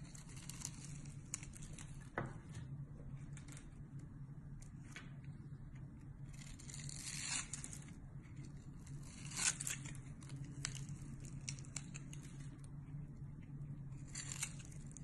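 A solid pink bar of soap, held in the hand over a pile of shavings, is scored and scraped with a metal utility-knife blade. Soft, bright tearing and crackling scrapes come in irregular bursts over a low, steady hum.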